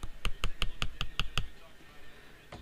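Nine quick taps on the plastic arms of Blenders Eyewear "Red Strike" polarized sunglasses, eight in a steady run and one more after a pause. Each produces a short, dry click with a bright ring around 1 kHz and 3 kHz that dies away almost instantly. The arms sound a little more solid than a previous pair of sunglasses whose frames sounded almost hollow.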